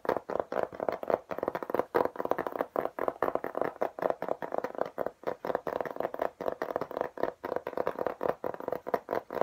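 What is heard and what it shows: Fingertips and nails tap rapidly across a beige, embossed, textured plastic tablet case, a hard flat panel held up in front of the face. The taps are dry, quick clicks centered in the midrange, with almost no low end or ring, and they run in a steady, dense stream throughout.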